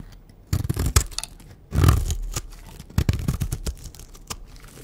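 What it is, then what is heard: Dry bar soap being shaved. A green rectangular bar of dry soap, held in the hand, is scored and shaved with a blade into strips. Dry, crunchy scraping and tearing bursts come in uneven strokes, with sharp crisp snaps on top of a heavy low rumble. Quieter pauses separate the cuts.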